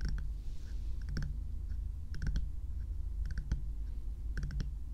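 Long nails tap the frosted plastic or silicone shell of a small, hollow, lit bear-shaped night lamp held close, giving quick clicky taps in short clusters. A steady low hum runs underneath throughout.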